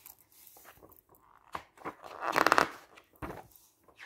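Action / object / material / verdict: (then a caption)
scrape / glossy paper magazine pages / glossy paper / none. A hand slowly lifts and turns single pages of a glossy paper camping guide lying open on a table, rubbing the paper as it goes. Soft, dry rustles and brief papery flicks build into a louder crinkling swell midway, then settle back to quiet rustling.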